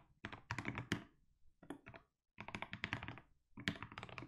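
A compact mechanical keyboard with plastic keycaps is typed on continuously by fingertips, producing bursts of quick, deep, thocky key clicks with bright edges. Short pauses separate the typing bursts, and each keystroke dies away almost immediately.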